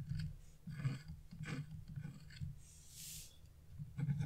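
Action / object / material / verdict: scrape / scratch-art paper scraped with a metal tool / coated paper / none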